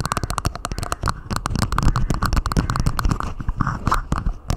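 Long nails of both hands tap and scratch a hollow, clear plastic dome cup lid placed over a microphone. The rapid tapping gives dense, deep, hollow thumps with short, bright clicks on top, mixed with scratchy rustling across the plastic.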